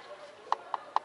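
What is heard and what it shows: A wooden palace column is tapped three times by hand, giving short, dry knocks with a clear mid-range tone around 860 Hz that dies away almost instantly. Faint background murmur sits beneath the taps. The hollow-free, quickly damped knocks confirm the column is wood.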